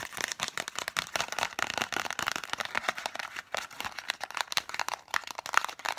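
Long manicured nails rapidly tap and scratch a small, hollow, green and white printed cardboard lozenge box that probably has contents inside. The result is a fast, dense run of dry clicks and scratchy crackle, bright and papery with almost no low end. Each tap stops dead with no ring.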